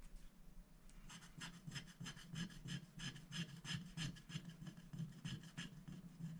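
A wooden stick scratches the black coating off a thin, flat paper scratch-art sticker sheet lying on a glass board while a hand holds the sheet still. The result is a quiet, steady run of dry rasping strokes, roughly three per second, each with a bright scratchy edge over a low hum.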